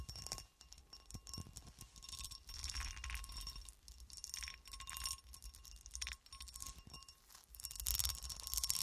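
A solid, hand-sized clear cut glass horseshoe, held upright, is tapped and scratched with long acrylic nails. Quick, bright clicks and clinks mix with rasping scratches over the textured glass, each tap dying away almost at once. The sound is quiet and high, with a faint steady tone underneath throughout.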